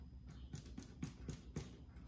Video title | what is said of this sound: Amy Roloff Baking Crusty ‘Artisan’ Bread with Molly | I think it's done. It's a little hollow.